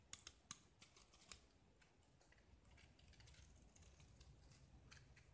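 A small solid gypsum plaster disc painted orange is held in the fingers and scraped with a metal utility knife, shaving off curls and exposing white plaster underneath. A few sharp, bright scratchy clicks open the clip, followed by a steady, quiet, crisp scraping texture with a soft low rumble underneath.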